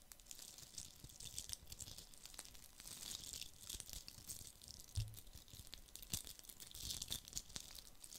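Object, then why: Glitter-covered plastic Christmas bauble. A fist-sized, hollow red plastic Christmas bauble coated in glitter is held in one hand and scratched with fingernails. The result is a quiet, steady run of dry, crinkly scratching with a bright, hissy top and rapid tiny clicks, plus soft low bumps from handling. The most noticeable bump comes around five seconds in.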